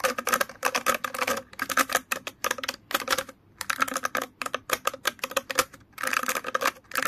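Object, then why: Plastic hairbrush bristles. Fingers scratch and flick the plastic bristles of an orange plastic hairbrush, producing rapid bursts of dry, bright clicking and ticking. The flicks come in uneven clusters with brief pauses between them, carrying a faint mid-pitched tone around 500 Hz, and each click dies away almost instantly.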